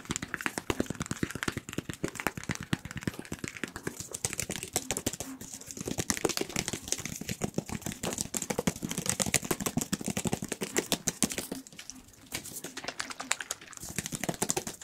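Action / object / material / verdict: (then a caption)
tap / small hollow plastic bottle / plastic / none. A small, white, hollow plastic cylindrical tube bottle is tapped and scratched rapidly with fingertips and nails. The result is a dense, continuous stream of sharp, dry clicks and crackles that ring very briefly, with a hollow tone in the low mids and a bright scratchy edge. The stream dips briefly in level near the end.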